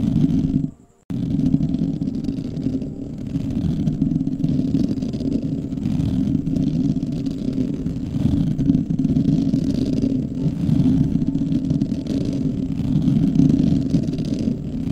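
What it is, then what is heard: Metal mesh microphone grille being scratched. Fingertips of both hands scratch and rub directly on the round, hollow metal mesh grille of a black condenser microphone. The result is a dense, continuous scratching rumble concentrated in the low mids, with a brief silence near the one-second mark before the steady rubbing resumes.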